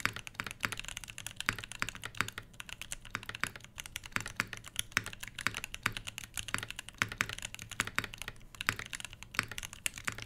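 Both hands rapidly type with their fingertips on a full-size, solid-bodied mechanical keyboard with Everglide Crystal Purple switches, plastic keycaps and a brass plate, resting on a fabric desk mat. A steady stream of short, bright clacks with a faint low thock under each press dies away almost instantly, with no ringing.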